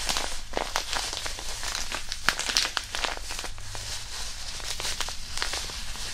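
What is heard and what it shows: A disposable hand warmer, a small flat white non-woven fabric pouch filled with granular iron powder, is held in both hands near a binaural mic and crumpled and squeezed with the fingertips. Dense, close crinkling and gritty crackles come in quick, short bursts over a low rumble, with bright, sharp rustles throughout.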